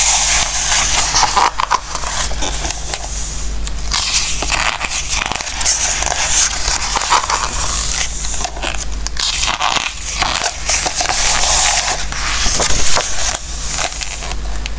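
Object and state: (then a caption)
Glossy paper book pages. Fingertips rub and slide across the glossy coated paper pages of a large softcover Christmas recipe book lying open on a wooden table, turning them. Continuous bright, crackly rustling and crisp paper swishes rise and fall over a steady low hum.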